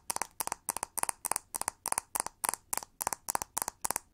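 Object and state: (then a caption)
Plastic hair brush tapped with fingernails. Long nails tap and scratch the hollow back of a pink, textured plastic hair brush with pin bristles. Quick bursts of three or four sharp, dry clicks repeat at a steady pace, each burst bright with a hollow midrange knock near 900 Hz. The clicks stop dead with no ring.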